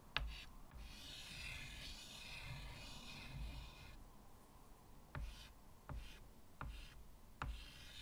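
White chalk draws spirals along the top edge of a medium, flat chalkboard in a wooden frame. After a sharp tap, a steady, bright scratching hiss runs for about four seconds. It then turns into quieter strokes with four more crisp taps, five short clicks in all.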